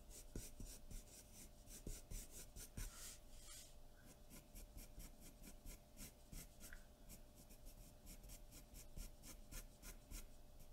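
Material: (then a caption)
Paper. A graphite pencil held at the fingertips scratches and rubs across a large white sheet of drawing paper taped on a dark board while shading. The result is a steady, soft rasp with a run of short, bright strokes over a low hum.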